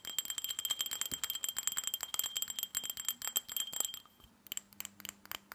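Fingernails tap rapidly on the sides and base of a small, empty, hollow glass tumbler with a red glitter coating. The result is a quick stream of bright, clicky taps with a faint glassy ring near 3 kHz. Toward the end, the tapping thins out into softer, sparser ticks.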